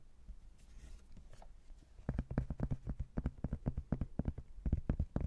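A thin, flat cork-backed hardboard placemat about 30 cm wide is turned to show its cork back, and fingertips and nails scratch and tap the cork side, then its blue laminated edge. Soft, faint scratching opens the clip, then at about two seconds a quick, uneven run of dull, low taps begins. Each tap stops almost instantly with no ring.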